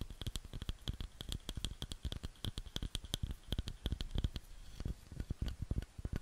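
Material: Wood.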